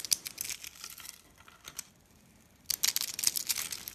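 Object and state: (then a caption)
Dry, brittle soap curls being crushed. Pieces are broken off a solid, brittle white rolled dry-soap spiral and its curls and crushed between the fingertips. Bright, dry crunches and crackles come in a burst, fade into near silence, then return as a dense run of sharp crackling with no low rumble.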